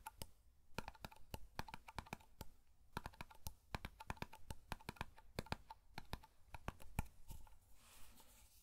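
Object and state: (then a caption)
Metal hair cream tin. Fingertips tap and flick the lid of a small, black, round metal hair cream tin held in both hands. The result is a quick, irregular run of many sharp, dry clicks that stop almost instantly, with a bright edge and a faint low rumble beneath. A soft, airy scratch rises near the end.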